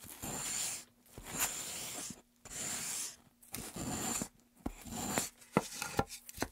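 Gloved hands hold a solid light wooden pen tray and make repeated scraping, rasping strokes along its carved groove. Each stroke is a dry, bright, hissing burst, with brief pauses between them. The clip ends with a few short, sharp ticks over a faint steady low hum.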